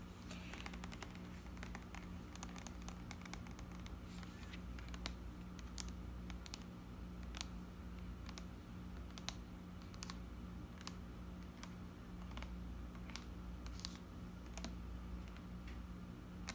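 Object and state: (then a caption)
Plastic lotion bottle tapped with nails. A hand-sized, hollow white plastic eos body lotion bottle is held up and tapped with long manicured nails, giving quiet, dry click-like taps with very short ring. A steady low hum sits underneath throughout.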